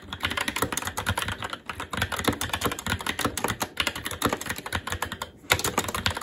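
A SteelSeries Apex 7 TKL mechanical keyboard with plastic keycaps on a metal top plate and Red linear switches is typed on continuously and quickly with the fingertips of both hands. Dense, rapid plastic clacks with a bright, crisp top end die away almost instantly. The stream dips briefly just before the five-and-a-half-second mark, then resumes.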